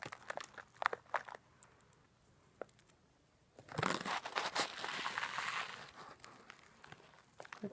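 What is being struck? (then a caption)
Plastic zip bag of coarse salt crystals. A clear, labeled zip-top plastic bag part filled with coarse rock bath salt crystals is handled, shaken and pinched at the top with long nails. Sharp, scattered crinkles and ticks give way in the middle to a louder, sustained rush of crinkling and the salt shifting, bright across the upper range. It then thins back out to sparse clicks.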